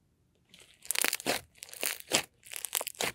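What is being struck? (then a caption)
Fluffy slime. Pink fluffy slime is held in one hand and poked with the fingertips of the other. The result is a run of soft, bright, crackling pokes and squishes that come in uneven bursts over about three seconds.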